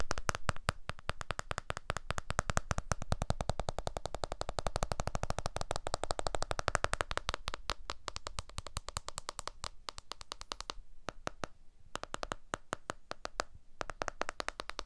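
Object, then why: Smartphone, glass back and aluminium frame. Fingertips and nails tap rapidly on the glass back and aluminium frame of a blue iPhone 12 smartphone held sideways in both hands, back facing outward. The result is a dense, continuous stream of short, dry clicks and taps with a low thump underneath. The pattern turns sparser and slightly quieter near the end.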